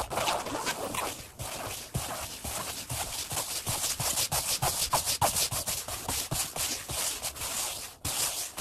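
Bare fingertips and palms rapidly rub and tap the solid vinyl-over-foam seat of a black padded Flybird workout bench with a red stripe. The result is a dense, bright, scratchy rustle broken by quick, irregular taps and soft low thumps, with only brief pauses.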